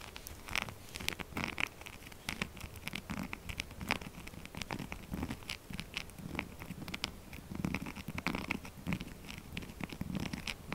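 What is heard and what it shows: Fingernail tips scratch fast and hard across the rough face of a solid pink textured soap bar held in the other hand. Dense, dry, crackly scratches with a bright edge run continuously, each stroke short and crisp with no ring. There are no pauses, and the noise stays at a steady level throughout.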